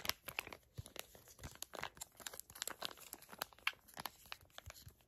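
A small, flat teal Moroccanoil sample sachet made of crinkly plastic/foil laminate is crinkled and tapped with long acrylic nails. Dense, bright crackling and sharp clicking come in quick irregular bursts throughout, with almost no low end and very little ring after each sound.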